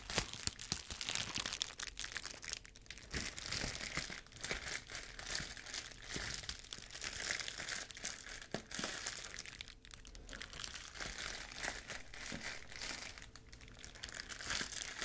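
Clear plastic bubble wrap, a thin air-filled sheet wrapped around one hand like a glove, is crinkled and rubbed with the fingers close to a furry microphone. A dense, continuous bright crinkling with many small crackles and snaps runs throughout, close and dry.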